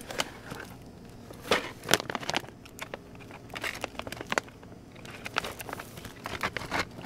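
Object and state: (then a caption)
Plastic bag of rawhide chews being crinkled. A hand with long painted nails holds and squeezes a medium clear plastic bag full of flat rawhide dog chews. The plastic gives bright, dry crinkles and crackles in irregular bursts, with louder sharp snaps among quieter rustling.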